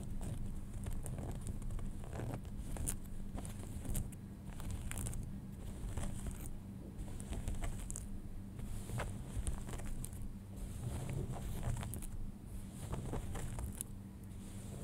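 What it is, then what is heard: Denim jeans. Fingernails tap and scratch the front fabric near the button of a pair of folded light-wash denim jeans. The result is a continuous, soft, papery scratching with quick crackly taps over a steady low hum that dominates the mix.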